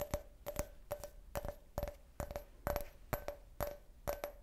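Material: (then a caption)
Glass. Fingernails rapidly tap a clear, hollow, empty can-shaped glass beer glass with a printed logo. A steady series of quick, bright clicks is heard, each giving a brief glassy ring around 580 Hz that fades almost at once.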